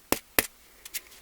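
A hollow egg-shaped shell of glue-soaked string, dried overnight, is knocked four times: two sharp, dry taps, then two quieter ones, each dying away almost instantly. The shell is hard and does not cave in, showing it is dry and ready.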